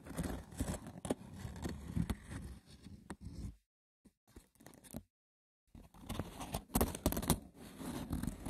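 A wicker basket's textured woven surface is scratched roughly and tapped, making dry, crackly rasping and light taps with a low-heavy body. Scraping fills the first three and a half seconds, then comes near silence broken by a few faint taps, and the rough scratching resumes from about six seconds with sharper bursts.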